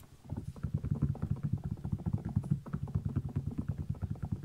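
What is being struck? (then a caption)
Child's canvas sneaker with rubber sole. Fingertips and nails scratch and tap the patterned rubber sole of a small kids' canvas sneaker turned upside down. A fast, steady run of short, dull taps and scrapes sounds low and muffled, with no ringing after each one.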